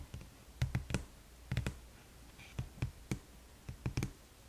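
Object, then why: Small cardboard gift box. Long nails tap and scratch along the side of a small red cardboard gift box held upright on its edge. A quick, uneven series of short, dull taps with bright clicky edges sounds in loose clusters, joined by faint scratching between them. Each tap dies away almost at once.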